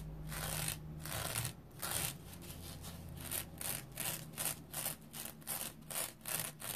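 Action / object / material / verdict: scrape / synthetic mesh-covered foam sponge / synthetic mesh / none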